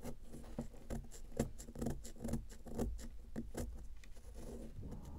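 Long nails scratch and tap a solid round pressed powder bath bomb held on a paper towel, loosening the powder. Quick, irregular crisp scratches and light taps come about twice a second over a soft, low background. Each sound dies away almost at once.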